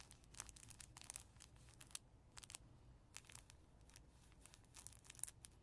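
Fingertips scratch and rub the crinkly fabric page of a soft cloth baby book, open on the kangaroo page with a ribbon and a small mirror, then a flat hand presses the page. Quiet, dry, bright crinkling rustles come in quick, uneven bursts over a faint low rumble.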